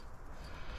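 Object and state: Nothing is struck.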